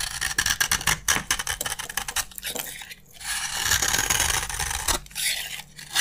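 A utility knife blade scrapes crunchy curls from a solid green bar of dry soap. A quick run of sharp, crackly clicks gives way to longer, bright, hissing scrapes with short pauses between strokes.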